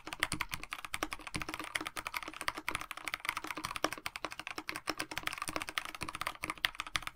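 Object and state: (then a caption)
Mechanical keyboard with PBT keycaps. Fingertips of both hands type steadily on a KBD67 Lite 65% mechanical keyboard with a black plastic case, white blank PBT keycaps and lubed Dinokeys Mints linear switches. A rapid, continuous stream of short, crisp key taps fills the clip, each click dying away almost instantly with a bright, mid-to-high clatter and little low end.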